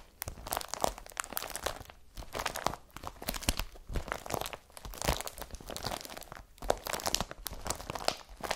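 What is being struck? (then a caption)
Woven polypropylene carrier bag. Long fingernails scratch an empty blue IKEA BRATTBY woven polypropylene carrier bag lying flat. The result is a dense run of dry crinkling and crunching scrapes with bright, raspy texture. The strokes come in bursts separated by brief pauses.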